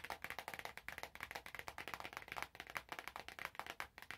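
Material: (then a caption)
Cellophane. Fingertips squeeze, tap and crinkle the cellophane wrap on an orange cardboard box, making a dense run of quick, sharp crackles and taps. The crinkles are bright and papery, with little low end and almost no ring after each one.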